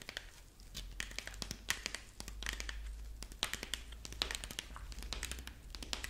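A dried corn husk rabbit figurine is held in both hands while fingers and long nails rub and crinkle its dry husk legs. The result is a dense run of bright, crisp crackles and short crinkling snaps over a steady low hum.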